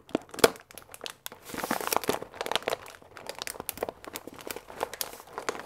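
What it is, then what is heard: Paper pasta bag with plastic window. A full paper fusilli bag with a plastic window, held upright, is squeezed and crinkled with the fingertips. It makes a steady run of dry, crackly crinkles and sharp, bright clicks, with a brief hissing rustle in the middle and almost no low end.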